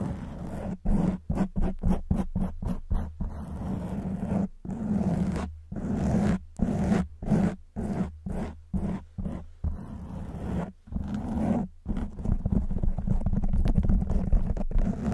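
Long white nails scratch a black foam windscreen on a silver microphone, making rough, muffled scraping bursts with a deep rumbly low end. Quick strokes separated by brief silences speed up at the start, then settle into a steadier, denser scratching toward the end.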